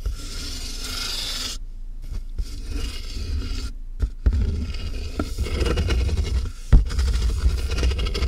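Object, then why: Cardboard box. Long nails scratch rapidly across the taped top of a large, hollow cardboard box, making a continuous rasping scrape with a heavy, boomy low resonance. The scratching breaks off briefly twice, and a few sharper thumps punctuate the steady rubbing.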